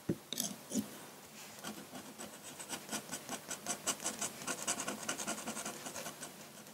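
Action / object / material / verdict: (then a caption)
scrape / paper sheet under a metal pen nib / paper / none. A metal dip-pen nib scratches ink lines across a large flat sheet of white drawing paper. A few sharp, louder strokes open the clip, then a steady run of short, bright, dry scratches follows at an uneven rhythm, each fading almost at once.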